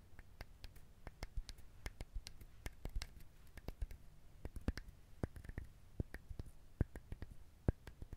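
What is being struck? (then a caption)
Whole coconut shell. Fingernails tap and scratch the hard shell of a whole coconut held close to the mic. The result is a quick, uneven run of short, dry clicks with a low thud under each tap, over soft scratching between them.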